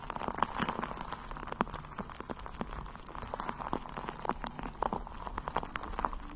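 Long nails scratch a bare, hollow, round metal mesh microphone head cupped in both hands, producing a steady stream of quick, dry crackling ticks. The scratches have a tinny ring around 1 kHz over a soft, low rumble, with brief sharper clicks standing out now and then.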